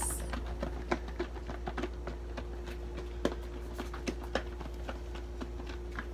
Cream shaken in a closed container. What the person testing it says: sounds like I'm shaking something around like if you put marbles in the bowl